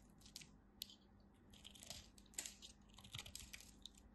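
A craft blade cuts and scrapes crunchy pieces off a thin remaining slab of dry purple bar soap held in the fingers. Quiet, dry, bright crackles and crisp snaps come in irregular bursts over a faint low steady hum. Each crunch dies away almost instantly.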